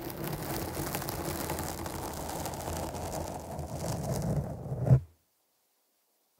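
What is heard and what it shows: Long nails scratch across the top of a black foam windscreen on a microphone, making a dense, rumbling, muffled scraping that stays mostly low with faint bright hiss. The scratching holds steady for about five seconds, swells to a brief peak, then stops abruptly into silence, with a tiny soft bump at the very end.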